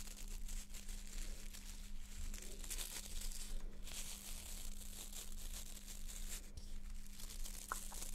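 A small white plastic nail brush with a hard solid plastic back and dense stiff plastic bristles is held close, as long painted nails scratch and flick along the bristles. The result is a steady, dense crackling rustle with bright, high hiss over a constant low hum. Brief flicking bursts stand out through the texture.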